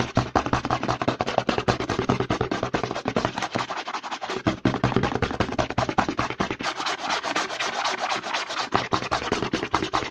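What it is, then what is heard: Plastic lotion pump bottle. Fingertips and nails rapidly scratch and rub the front label of a white plastic CeraVe lotion bottle with a green pump, held upright in one hand. A dense, continuous run of quick, dry scratching strokes with a bright, hissy edge is heard, with a faint low hum underneath that briefly drops away.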